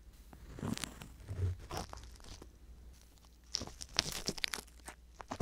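A wooden ear pick with a metal tip scratches inside the canal of the right silicone ear on a binaural microphone. Soft, close scraping and crackly crunching come through with bright, sharp clicks in a low, muffled bed. Several distinct scratch strokes stand out, especially in the second half.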